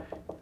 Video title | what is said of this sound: Inside a $7,100,000 ULTRA LUXURY Appartment - Address, Jumeirah Beach Residence | when you knock on it, you can hear in those homes how it's like kind of hollow. This, it feels solid.